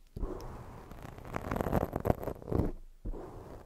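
Long fake nails scratch fast up and down along the sides of a soft, porous black foam microphone windscreen. The result is a low, dense rustling and crackling with swells of scraping energy, a brief near-silent gap, and then the scratching resumes.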